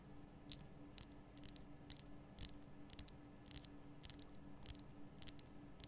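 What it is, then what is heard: Himalayan salt lamp tapped with fingernails. Long nails tap the sides of a large, lit pink Himalayan rock-salt lamp, a solid rough crystal block, making about 15 quiet, sharp, bright clicks at an uneven pace. The clicks die away almost instantly over a faint, steady low hum.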